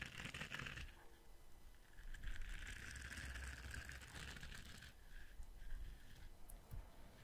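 Fingertips scratch and rub across the ridged bristles of a palm-sized, flexible orange silicone scrubber brush held up by the microphone. The result is a soft, continuous scratchy rubbing with a low rumble underneath and a bright, hissy texture that swells and fades in waves.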